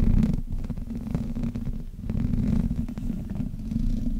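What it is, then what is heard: Metal microphone grille being rubbed. Both hands rub the sides of the hollow metal mesh grille of a black Blue Yeti microphone with fingertips and long nails. The result is a continuous, heavy low rumble with a dense, scratchy texture that swells and dips as the rubbing goes on.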